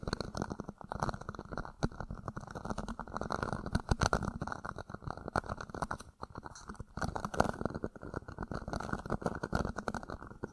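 Fingertips and nails scratch and rub the sides of an empty, hollow, thin-walled red plastic party cup slipped upside down over the top of a mic grille. The result is a dense, continuous stream of crackly scratching and rubbing with a hollow, boxy tone around 220 Hz. It sounds muffled and close, with little high-end brightness and only brief bursts and pauses in the texture.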